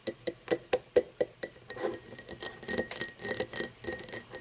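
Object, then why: Cut crystal glass tumbler. Fingernails tap an empty cut-crystal glass tumbler lying on its side on wood, with seven bright, clinking taps ringing near 490 Hz. The nails then scratch and rub along the cut ridges in a rapid, uneven run of short, high, glassy clicks and rasps.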